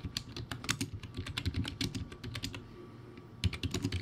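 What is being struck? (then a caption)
Plastic keyboard with round keycaps. Fingertips type rapidly on a crappy backlit plastic typewriter-style keyboard with round white plastic keycaps. A quick run of short, dry clicks with a low plasticky thud and bright tips ends abruptly, then the typing goes quiet briefly before a final burst of keystrokes.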